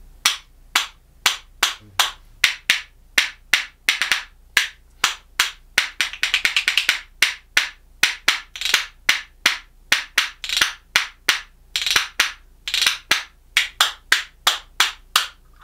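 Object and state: Cherry wood percussion spoons.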